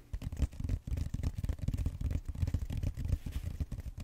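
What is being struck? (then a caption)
Styrofoam foam roller end. Fingertips with short nails scratch and squeeze the flat round end of a purple styrofoam roller, working over its bead-textured foam. The result is a dense, continuous run of dull, low crackling and rubbing bursts, with almost no bright content and no ring after each stroke.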